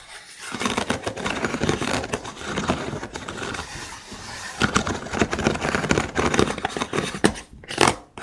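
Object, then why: Hollow cylinder of thin wooden sticks. Fingers scratch across the ribs of a hollow cylinder holder made of thin vertical wooden sticks. The result is a dense, dry, broadband scratching and rattling texture with quick bright clicks, running almost continuously and getting louder in uneven bursts toward the end before a brief dip.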